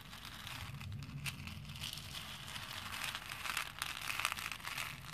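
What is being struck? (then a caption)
Small plastic pearl beads in a plastic bowl. A hand presses into and stirs small plastic faux pearl beads in a pink plastic bowl with its fingertips. This makes a steady, bright, crinkly rustle of beads shifting and clicking together over a faint low rumble. It swells in a few louder clusters toward the end.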